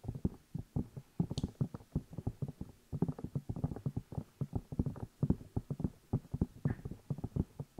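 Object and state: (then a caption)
Silicone microphone ears tapped. Fingertips tap and rub the two hollow rubber or silicone ear pieces of a black binaural microphone while the hands cup them. The result is a rapid, steady run of soft, muffled low thumps that die away almost instantly, with an occasional brief high scratch.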